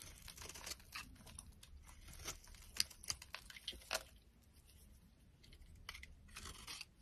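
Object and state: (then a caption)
Dry bar soap being shaved. A metal utility knife blade shaves a solid, dry pink bar of soap with scalloped edges, held in the palm. Quiet, bright scraping and crisp crunching strokes repeat throughout, with a few sharper snaps as curls break away.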